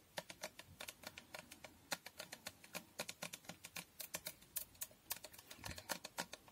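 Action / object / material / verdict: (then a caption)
tap / glass fragrance bottle tapped with fingernails / glass / none. A glass Toko Aroma fragrance bottle is held up close and tapped on its surface with long nails. Around forty quick, bright, clicky taps come in an uneven, typing-like rhythm. Each tap stops almost at once with little ring.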